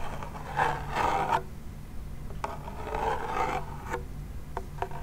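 A small hollow wooden toy pellet drum has its drum head and wooden rim rubbed and scratched with fingertips and nails. Two longer raspy scratching passes with a mid-pitched tone are separated by short sharp scrapes and taps, over a low steady hum.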